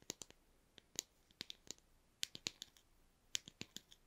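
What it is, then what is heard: Plastic tablet tube. A small white plastic tube for effervescent tablets, with a snap cap, is held in the hands and tapped with fingernails, and possibly shaken. About fifteen quick, dry, bright clicks come in irregular bursts, each cutting off at once with no ring. The result is a quiet, crisp, high tapping with almost no low end.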